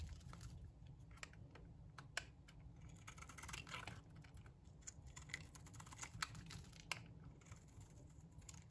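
A metal box-cutter blade shaves flakes off a solid, dry pink bar of soap. Quiet, crisp scraping ticks and short bright crackles come in quick irregular bursts over a low steady rumble, with a few sharper clicks standing out.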